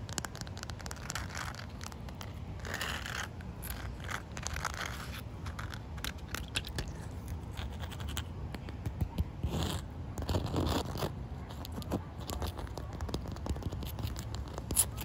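Short white fingernails scratch across a solid, wet, mottled outdoor concrete slab, producing dry, gritty scraping bursts over a steady low background rumble. Occasional brief, bright ticks stand out where the nails catch the rough surface.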